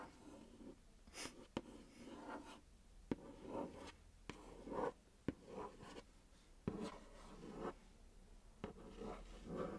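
Long nails scratch and tap across the surface of a large, flat, pink printed cardboard makeup palette box held in a lap. Soft, dry scratching strokes rise and fall between six sharp, short taps that die away almost instantly.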